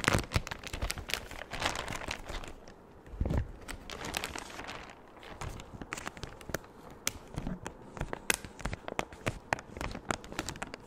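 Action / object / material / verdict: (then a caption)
scrape / thin clear plastic bag / plastic / none. A large, empty, thin clear plastic bag is scrunched, waved and stretched by hand, giving dense crinkling and crackling with sharp, bright snaps. A softer, smoother rustle fills the middle before the crisp crackles pick up again through the end.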